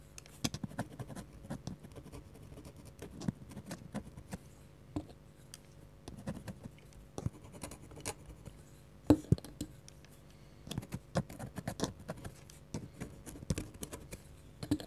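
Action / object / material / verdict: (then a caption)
scrape / fine-nib pen on a paper sheet / paper / none. A black fine-nib pen scratches small ink strokes for a tree sketch on a flat sheet of white drawing paper, with a lavalier mic resting beside the paper. The sound is quiet, dry scratching in short bursts and taps, mostly low and with little brightness. A few sharper strokes stand out near the middle.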